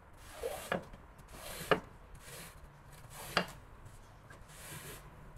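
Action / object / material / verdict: scrape / woven textile rug scraped with a squeegee / textile / none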